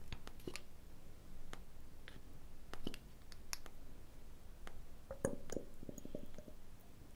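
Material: Glass.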